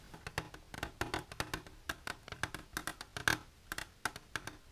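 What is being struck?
Hard plastic container.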